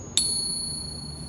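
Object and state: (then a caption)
Fake silver coin. A counterfeit silver coin, balanced on a finger, is struck with a pocket pinger, giving a sharp metallic ping. A thin, high ring, with steady tones, fades slowly over about a second. The tone marks the coin as fake.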